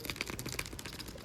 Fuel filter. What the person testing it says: Pag may kumakalog na, ibig sabihin yan, yung element sa loob o yung filter niya mismo, bumitaw na yung pandikit.